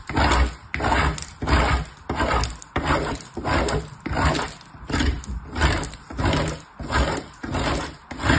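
A purple bar of soap is rubbed with fingertips across a hollow, perforated, painted metal box grater lying on a patterned surface. Steady grating strokes make a rhythmic, gritty rasp that swells and fades about every two-thirds of a second, carried over a strong low rumble.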